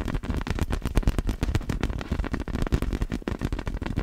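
Long black fingernails tap rapidly on a large, hollow, clear vinyl inflatable ball with glitter inside as it is moved close to the camera. A dense stream of dull, deep thuds with quick, dry decays comes through, with almost no high or bright content.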